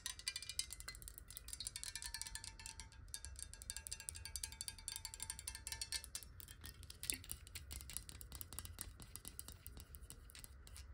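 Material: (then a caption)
Glass. A clear square glass bottle, held in the hand and partly filled with water, is tapped rapidly on its side with long nails. This produces a dense, continuous stream of bright, sharp clicks over a steady low hum, with a faint sustained tone in the middle of the clip.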